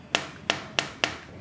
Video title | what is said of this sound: Rumah yang Nyaman dan Fleksibel di Ivora Summarecon Bandung | Material aluminiumnya yang tebal ya, tetangga ini berkualitas jadi bukan yang suaranya kopong gitu.